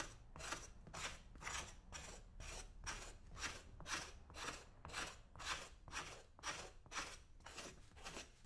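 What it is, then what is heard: Leather boot being scraped. A hand holds a brown leather boot for the right foot, coated with old whitish cream residue, while a flat metal scraper blade scrapes along its toe and vamp. Sixteen rasping strokes come at a steady rhythm of about two per second, each a bright, gritty scrape that fades quickly, over a faint low hum.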